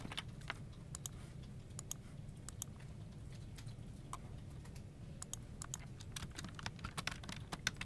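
Both hands type with their fingertips on a full-size plastic office keyboard resting on a desk, its hollow plastic case and key switches giving rapid, sharp key-press taps with bright, clicky edges. A steady low hum from a desk fan in the background runs underneath throughout.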